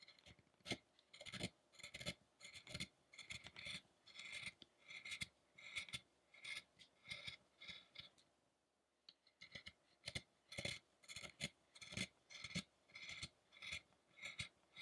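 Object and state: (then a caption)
Chisel carving a wooden statue. A chisel scrapes and carves the head of a large, solid light-wood statue of the fasting Buddha, with wood chips scattered around. Short, bright, rasping scrapes repeat at an uneven pace of roughly two per second, and there is a brief quiet pause near the middle.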